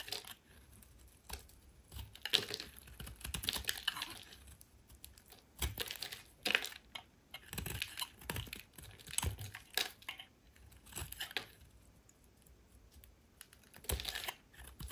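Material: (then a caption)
Soap. A small metal utility blade carves and scrapes curls off a solid oval green soap bar held in one hand, with the shavings piling up beside it. The result is a series of short, crisp, bright scraping and cutting strokes with a dry crackle, separated by quiet pauses.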